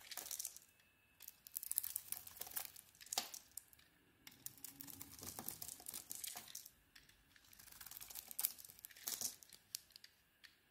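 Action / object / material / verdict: scrape / bar of soap / soap / none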